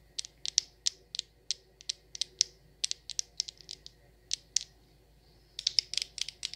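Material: Glass.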